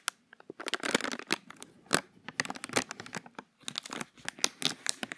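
A small, thin, empty, hollow clear plastic bag is held in the fingers close to the microphone as the fingertips crumple and crinkle it. Bursts of sharp, bright crackling come in quick irregular clusters with brief pauses between them, with almost no low end and no ring after each crinkle.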